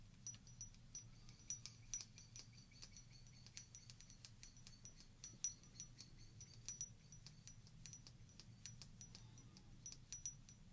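A small hollow glass shot glass, partly filled with water and held in both hands, is tapped rapidly with long painted fingernails. Quick, bright, high-pitched clinks ring out briefly, some louder than others, over a steady low hum.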